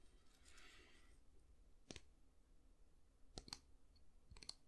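A solid, light wooden long-handled brush with a natural-bristle head is handled: fingertips scratch the bristles in a soft, bright rustle, then fingernails tap the wooden handle. The four tap clicks are short, sharp and high, with almost no ring, and they sit over a quiet low background.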